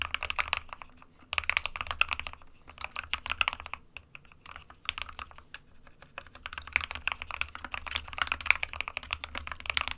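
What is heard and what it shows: A small 60% mechanical keyboard, an SK61 with a white plastic case and plastic keycaps, sits on a printed desk mat while both hands type on it with fingertips. Rapid, bright plastic key clicks come in bursts with short pauses between them, each tap dry and short with almost no low end.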